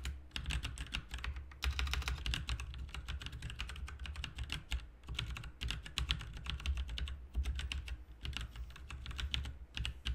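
Both hands type with their fingertips on a full-size, backlit plastic mechanical RGB keyboard with plastic keycaps. There is a steady stream of short, bright clicks and clacks with a few brief pauses, over a constant low hum.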